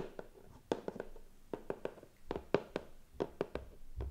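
A medium, closed, hollow white cardboard gift box with gold star cutouts on the lid rests on a lap and is tapped and rubbed with pink-painted fingernails and fingertips. About 14 quick, dry taps with a hollow mid-pitched knock around 400 Hz stand out over soft, continuous rubbing and scratching. Each tap dies away almost instantly.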